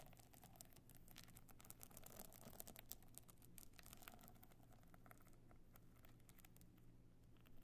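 A stone-chip covered box clutch evening bag, held on end, is scratched and tapped with long nails. Quick, bright, clicky taps and dry scratching patter across the stone-chip covering, with no ring after each tap. A steady low hum sits underneath throughout.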